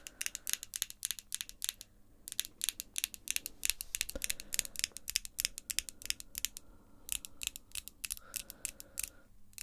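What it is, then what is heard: Acrylic false nails. Long pink acrylic false nails click and tap against each other near the face in rapid, irregular bursts. The clicks are sharp, bright and dry, with almost no ring, set over a faint low hum.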